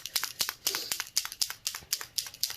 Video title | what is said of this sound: #111 - Geode Coasters in Blush, Pink & Pearl - #Geode #Coasters #Rezinarte #Colourarte #Tutorial | you want to shake it till you hear it move